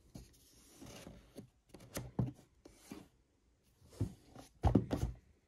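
A small, hollow, rectangular white and green printed cardboard box holding a Pulse Red Xbox Series X controller is held in both hands and turned while fingertips tap and rub its surface. Soft, dull, low thumps mix with papery scraping and rustling in short irregular bursts, and the taps stop almost at once with no ring.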